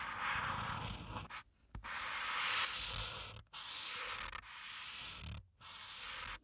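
A felt-tip marker rubs and scratches red color into Santa's hat on a thin sheet of white printed paper resting flat on a dark clipboard. It makes bright, hissy scratching in long stretches of steady rubbing, broken by a few brief silent pauses, with little low-end weight.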